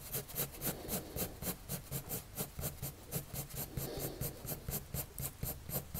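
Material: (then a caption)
Paper. A blue colored pencil makes rapid, short scratching strokes on a white paper sheet resting on a table. Steady, dry rasping bursts repeat at about four per second, each with a bright, scratchy hiss and a soft low thud underneath. The strokes keep a loose, even rhythm throughout.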